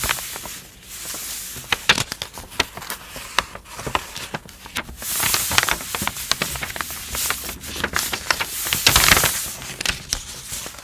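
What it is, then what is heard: Glossy paper leaflet. A large, thin, flat glossy paper first aid instruction sheet lying on a dark surface is rubbed with fingertips with long blue-painted nails, and a corner of it is folded and lifted. Bright, dense crinkling and rustling is heard, with many sharp snaps and brief louder swells of paper noise.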